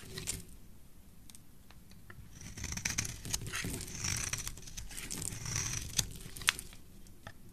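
A solid rectangular bar of red soap, held in one hand, is scraped and carved with a thin metal blade while the shavings fall onto the pile below. Soft, dry scraping and crisp, bright ticks repeat at an uneven pace over a low rumble, with two sharper clicks near the end.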